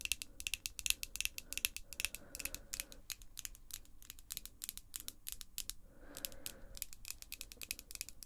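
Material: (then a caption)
Acrylic. Long, glossy pink acrylic false nails on both hands tap and click against each other. The result is a quiet, irregular stream of rapid, bright, sharp clicks that die away instantly, with a brief softer rubbing wash around the six-second mark.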